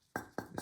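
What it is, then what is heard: Sound, uncracked mirror bracket. Three sharp taps on a removed Alfa 155 wing mirror bracket give short, solid knocks that die away almost at once. The bracket is in good condition with no cracks, so it can be reused.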